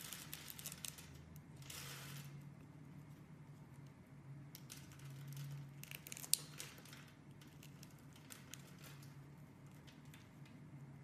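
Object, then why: Bar of soap cut with a metal blade. A hand-sized, solid white rectangular soap bar with an embossed face, held by fingers with red nails, is cut and scraped with a metal knife blade. Quiet, bright scraping and crisp little ticks play over a steady low hum, with one sharper click standing out midway. Small cubes and flakes fall off the bar.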